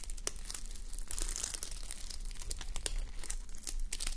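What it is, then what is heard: Sequin fabric sleep mask. Long nails scratch and rub across a flip-sequin sleep mask, plastic sequins on fabric, resting on a mannequin head, flipping the sequins back and forth. The result is a dense run of bright, crinkly clicks and scratches over a steady low hum.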